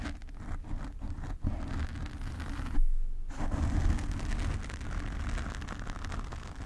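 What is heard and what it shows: A black foam windscreen on a desk microphone is gripped and scratched with fingertips and nails, making a dense, muffled scratching rumble that sits almost entirely in the low end. The texture runs continuously with small crackles, swelling into a louder, boomy burst near the middle before settling back to steady scratching.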